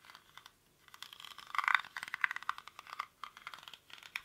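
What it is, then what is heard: Woven rattan basket. A hollow, cylindrical woven rattan or reed basket, held in both hands, is scratched and tapped quickly with fingernails across its weave. The result is a rapid run of dry, crackly clicks and scrapes, bright and centered around 1.5 kHz, with no low end. Each click dies away almost instantly, with short pauses between bursts.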